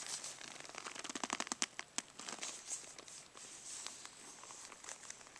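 Fingertips and nails tap and scratch the surface of a rolled black faux-leather brush roll case near its tie cord as it rests on carpet. Quiet, bright, crackly clicks and scratches come in a dense flurry of sharp taps early on, then ease into softer, steady scratching.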